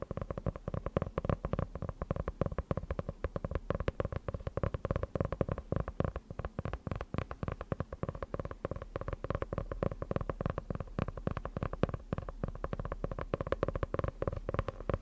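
Long nails tap rapidly and continuously on the cover of a medium dark-grey faux leather hardcover notebook with an elastic closure band, solid and closed and held upright. The taps are short, dull and low-pitched, with very little ring and almost no bright content.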